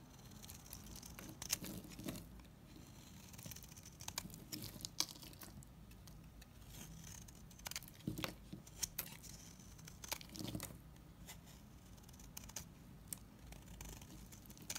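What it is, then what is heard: Bar soap scraped with a knife. A solid light green bar of soap is held in the hand and scraped with a utility knife, shredding it into shavings. Quiet, crisp scraping and crackling sounds come in bursts of short, bright clicks, with some soft low rustle underneath.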